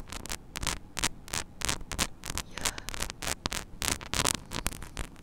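Long nails scratch and tap across the hollow metal mesh grille of a small mini microphone head. The result is a rapid, irregular run of short, bright, crackling bursts over a steady low hum and static hiss, with each contact dying away almost instantly.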